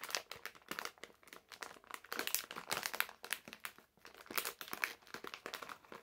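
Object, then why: Plastic-film candy bag. A medium printed plastic-film bag full of candies is rolled and crinkled between the fingers and nails of both hands. The result is a dense, quiet run of sharp, bright crackles and crinkles with almost no low end, each snap dying away almost instantly.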